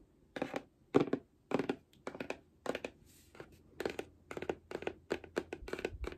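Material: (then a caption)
Cardboard. Long nails scratch and rub the surface and edges of a medium, hollow grey cardboard box held in the hand. Short, dry scratching bursts come in quick clusters with quiet gaps between them, each a papery rasp with bright hiss on top and almost no ring. A faint low hum sits underneath throughout.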